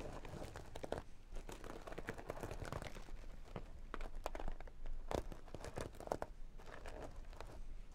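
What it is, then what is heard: Sequin and holographic vinyl makeup bag. Long nails scratch the sequin panel of a small, hollow sequin and holographic vinyl makeup bag and brush the sequins over. The result is a quiet, steady stream of dense crinkly scratching and rustling, broken by short, bright clicking flips as the sequins turn.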